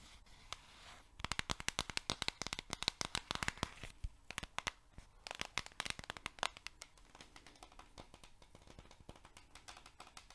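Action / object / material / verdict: tap / cardboard canister of oat flakes / cardboard / none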